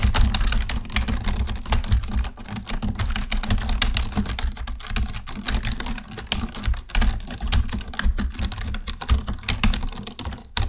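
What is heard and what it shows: Both hands type quickly with their fingertips on a black plastic computer keyboard, producing a dense, continuous stream of sharp clicks and clacks. A steady low hum runs underneath throughout the clip.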